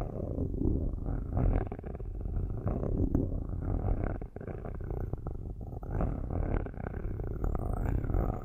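Metal-tipped sticks scratch the metal grille tops of two black cylindrical microphones, held by hands with long nails. A steady, dense, low rumbling scrape continues throughout with little above the low-mid range, broken by brief dips and a faint high whistle near the end.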